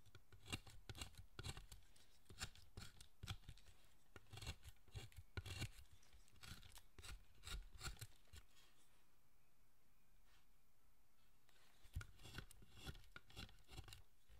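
A chisel pares and scrapes the surface of a large, solid, carved wooden Buddhist statue of Zochoten. Quick, crisp cuts with bright, scratchy edges and soft low thumps come in a steady run. The cuts ease into a quieter scraping stretch near the middle, then pick up again.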